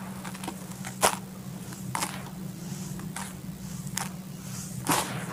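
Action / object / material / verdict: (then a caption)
scrape / red soil in a bucket / soil / none. Bare hands scoop dry, loose red soil from a full bucket, let it pour back, and press into it. Short grainy, dusty crunches and bright sprinkling bursts rise over a steady low hum, with the loudest bursts near the start and end.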